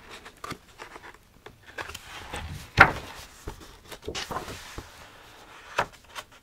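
Fingertips turn and rub the paper pages of a medium-sized paperback copy of "Where the Sidewalk Ends," held open in the hands. The result is soft, intermittent scraping and rustling, with a sharper, brighter crackle near the middle and another near the end. Each sound stops quickly, with little ring.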